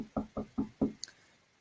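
Someone knocks on a desk four times in an even rhythm, making short, dull thuds centred low in pitch that die away quickly. A faint, higher-pitched click follows just after.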